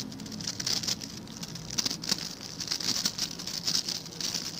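Fingertips and nails of one hand scratch and flick across the stiff white-and-blue plastic bristles of a hand-sized blue scrub brush held in the other hand. The result is a continuous bright, crackly patter of quick ticks and rustles, with sharper flicks popping out now and then. There is almost no low-end body.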